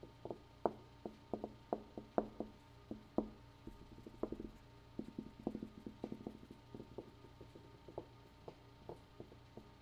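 A room wall is tapped repeatedly in an uneven rhythm, about 28 short, dry knocks over ten seconds. Each tap has a hollow, mid-low tone that dies away almost at once, with some taps louder than others and quieter flurries in between.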